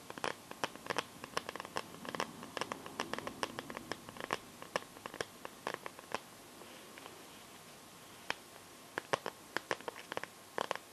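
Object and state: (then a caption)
Plastic phone case scratched and tapped with nails. Long nails scratch and tap across the back of a smartphone in a clear pink plastic glitter case. Dozens of sharp, dry clicks and ticks sound in quick, irregular bursts, with a brief stretch of soft rasping scratches early on. A faint steady tone around 1 kHz runs underneath at a quiet overall level.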